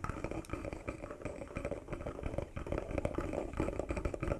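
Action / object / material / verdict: tap / small carved wooden box with a metal emblem / wood / none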